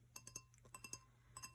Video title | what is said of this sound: Disney ASMR: Disney Merch Show and Tell (whispers and tapping) | It is a Burger King Star Wars glass.